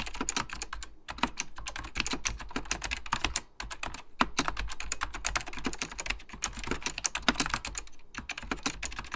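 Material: Plastic.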